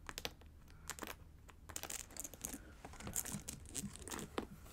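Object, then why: Satin boot with plastic rhinestones. Long acrylic nails tap and scratch across the large plastic rhinestone gems and gold trim of a hollow pink satin boot, held upright in one hand near the mic. A rapid, irregular run of sharp, bright clicks mixes with dry, crinkly scratching, each tap dying away almost instantly.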